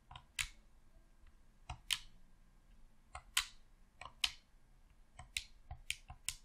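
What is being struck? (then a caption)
Plastic game controller. Thumbs press the thumbstick and buttons of a hollow, red plastic Xbox controller. The result is a series of short, sharp, bright plastic clicks, often in quick pairs, with almost no ring. They sit over a quiet, low background.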